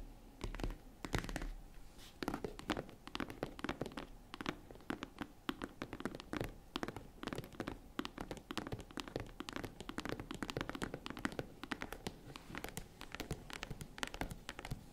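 Long nails tap the lid of a small, hollow, tan faux-leather zippered jewelry case, then fingertips tap its side panels. The result is a steady stream of rapid, dry taps with a hollow low thunk and almost no ring, in a close, quiet space.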